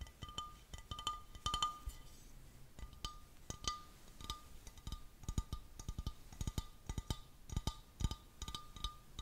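A small, clear, thick-walled glass vase or bowl with a textured, wavy surface, hollow and empty, is held in both hands and tapped and scratched with fingertips and nails. Rapid, uneven clusters of dry taps and clinks stop quickly, with a faint ringing tone near 1.2 kHz and soft scratching between them.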